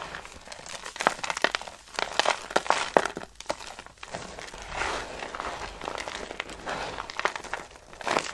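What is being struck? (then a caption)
Soap flakes. Handfuls of dry green soap shavings are crushed and crumbled onto a pile, giving dense, dry crinkling and crunching with many quick, bright crackles. Sharper snaps stand out among softer, continuous rustling, with almost no low end and no ring after each crunch.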